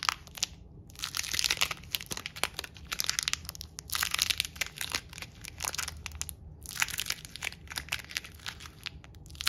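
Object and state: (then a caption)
Crumpled vinyl sticker ball. A small, hand-sized ball of peeled purple and silver metallic vinyl sticker film, loosely crumpled, soft and hollow, is squeezed and crushed between the fingertips of one hand in front of a wall. It makes bright, dense crinkling and crunching crackles in repeated bursts separated by brief quiet gaps.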